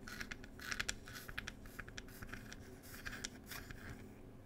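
Long pointed nails quickly tap and scratch across the wooden lid of a small "Cherry Tea" wooden box. Sharp, bright clicks and dry scraping rasps come in quick bursts over a steady low hum, each tap dying away almost at once.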